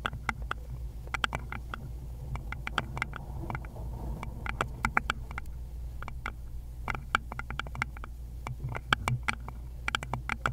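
Long pointed nails in glittery gloves tap and scratch the curved base of a small, hollow, round wooden bowl with visible grain. Quick, dry, bright clicks that die away almost instantly, centred near 1.4 kHz, come in irregular bursts and single taps. Softer scratching lies between them over a steady low hum.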